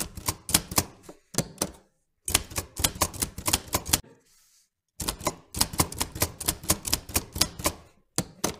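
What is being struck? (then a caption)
Metal manual typewriter. Fingertips of both hands type repeatedly on a vintage black-and-silver metal manual typewriter with round keys. About thirty sharp, bright key clacks arrive in quick bursts separated by short silences, with a faint soft hiss during one pause.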